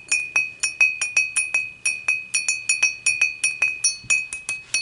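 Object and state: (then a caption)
Glass beer mug. Fingertips and long nails tap the sides of an empty, upright dimpled glass beer mug. There are 23 quick, bright clinks, each with a clear ringing tone near 2.5 kHz. Each one fades in about a tenth of a second.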